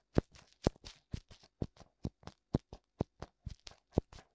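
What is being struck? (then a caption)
Silicone ear of a binaural microphone. Fingertips tap and rub both hollow white silicone ears, complete with ear canals, on a black binaural microphone. About 19 short, dry taps land in an uneven rhythm, each a dull low thump with a soft brushing hiss, and there is almost no ring after each one.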